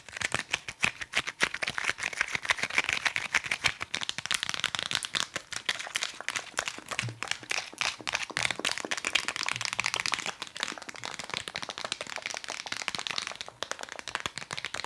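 Fingers tap rapidly on a nail file in a fast, continuous stream of short, dry clicks. The taps are bright and scratchy, with almost no low end, and each one dies away almost instantly. The pace stays steady throughout.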